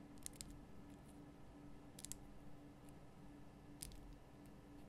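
A large, solid, lit pink Himalayan rock-salt lamp is tapped with long painted nail tips. Sharp, bright clicks fall in small clusters near the start, around two seconds and near four seconds. They decay almost instantly over a quiet, low background hum.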